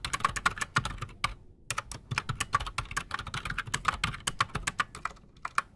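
Both hands type fast with their fingertips on a solid, full-size black Redragon mechanical keyboard with PBT plastic keycaps and silent switches, resting on a desk. The result is a rapid stream of short, dry taps with a muted mid-toned clack and a little bright edge. Each keystroke stops almost instantly, with brief gaps between bursts.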